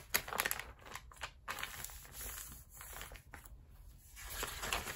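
An open glossy paper magazine lying on a rubber mat is rubbed and pressed flat along the spine with fingertips and palms while its pages are turned. Quiet, bright crinkling and rustling paper sounds come in irregular bursts, with a few sharper crackles of page movement between softer sliding swishes.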